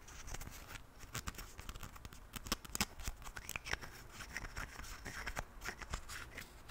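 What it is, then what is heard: Plastic toothpaste tube cap. A hand holds a Colgate plastic toothpaste tube while fingertips and nails flip and click its white plastic cap open and shut. A long run of quick, dry, bright plastic clicks and taps is heard, with no ring after each one, over a low rumble.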